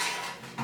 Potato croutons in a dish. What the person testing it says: can you hear how crispy they are